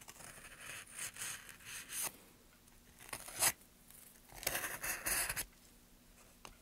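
Gloved hands push a steel gouge along a carved groove in a solid, light pine softwood board. Bursts of bright, dry scraping and shaving come in uneven strokes, separated by quiet pauses, with the sharpest scrape near the middle.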